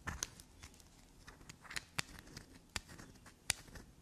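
A small solid black soap bar is held in the hand while long black nails scrape and dig along its shaved surface. Soft, bright scratching and crackling is heard, broken by several sharp, brief clicks.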